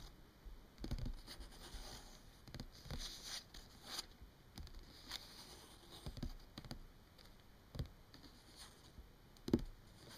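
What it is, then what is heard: Paper book pages. Long fingernails of both hands tap and scratch the printed paper pages of an open paperback book. Soft, quiet taps and dry scratching patter along irregularly, with a few sharper clicks standing out.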